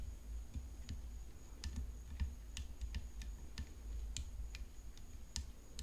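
Long fingernails tap the frame of a tennis racket, making a quick series of sharp, bright clicks that die away almost at once. A steady low rumble and a faint high whine run underneath throughout.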